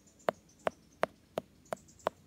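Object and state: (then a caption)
Ripe jackfruit. Six taps on a ripe jackfruit, evenly spaced, each giving a short, soft, muffled knock centered around 640 Hz that dies away almost at once. The soft tone with something like a mix underneath, the sound known locally as "hagubhob," marks the fruit as ripe.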